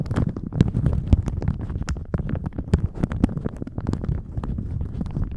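A thin plastic shower cap stretched over a microphone is squeezed and crinkled with the fingers of both hands. It makes a dense, continuous stream of close, muffled crackles and rustles, heavy in low rumble, with brief sharp snaps rising into bright crinkles throughout.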